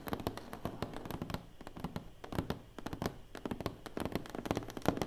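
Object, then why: Cardboard box lid. Long nails and fingertips tap fast on the lid of a large, closed, hollow black cardboard award box. The result is a dense run of quick, dry clicks over a low, hollow thump, with each tap dying away almost at once.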